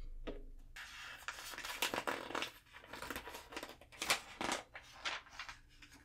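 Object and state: Glossy magazine pages being turned.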